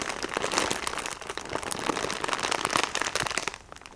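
Fingertips with painted nails tap and squeeze a plastic-wrapped sponge package, crinkling the wrapper. A dense run of bright, crackly plastic crinkles and light taps continues steadily, then thins and softens in the final half second.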